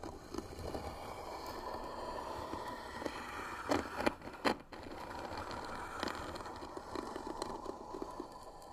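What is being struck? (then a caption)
Wooden box lid. Short fingernails scratch the lid of a hollow white wooden box with pearl-bead trim, producing a steady dry, rasping scrape with a mid-range body and little bass. A few sharper, louder clicks stand out from the scratching near the middle of the clip and again later.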